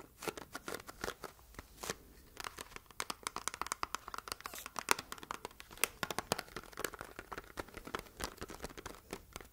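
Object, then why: Small printed cardboard box. A small red printed cardboard box is held in both hands while long red nails scratch and tap its surface. Many dense, quick, bright clicks and crinkly scratches overlap in a close, quiet space, each dying away almost instantly, with little low end.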